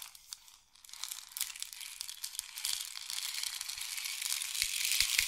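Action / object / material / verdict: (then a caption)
shake / wooden rain stick with loose filling / wood / none. A long, hollow painted wooden or bamboo rain stick is tilted in both hands, and the filling pours down inside it. A dense, bright, hissing patter of tiny grains starts quietly and gradually swells louder over the clip, with almost no low end.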